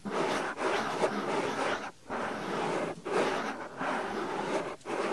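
Fingers with long nails pinch and rub the flap of a white, soft silicone binaural microphone ear. A dense, close rubbing and scratching noise runs in steady bursts, mostly in the mids, with brief quiet gaps between strokes.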